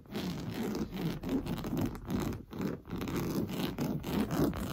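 Blue-painted nails scratch fast across an orange coarse-weave fabric sofa cushion. The result is a dense, continuous dry rasp with most of its weight low and in the lower mids, broken by a few brief pauses.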